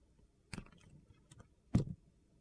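A utility knife blade shaves and peels curls from the face of a solid, translucent green glitter glycerin soap bar held in the hand. Short, dull scraping crunches come in quick strokes against a quiet background, with two louder strokes standing out.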